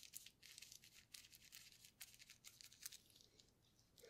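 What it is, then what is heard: Plastic bubble wrap brushed with paint. A paintbrush wet with orange paint is rubbed and dabbed over a flat, partly painted sheet of clear, air-filled plastic bubble wrap lying on a white table, while a gloved hand holds a paint bottle to the side. It makes quiet, bright, crinkly brushing and scratching bursts with almost no low end, each crackle dying away almost instantly.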